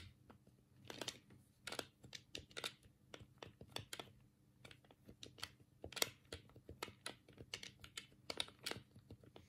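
A black hollow plastic Sega control pad is held in both hands while the thumbs click its D-pad and A, B and C buttons. The result is a quiet, irregular run of short, sharp, bright plastic clicks and taps with almost no ring, over a faint low background hum.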